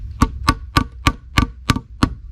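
The last piece of a plastic caravan waste pipe is tapped into its plastic fitting with seven short, dry, evenly spaced knocks, each a low thump with a hollow plastic tone. The change in the tapping sound shows the pipe is fully seated in the fitting.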